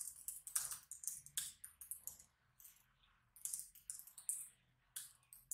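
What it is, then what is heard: Plastic laptop keyboard typing. Fingertips type continuously on a black plastic laptop keyboard with small hollow keys, both hands staying on the keys while the mouse goes untouched. Quick, bright, clicky taps come in uneven bursts with short pauses between them, each tap dying away almost at once.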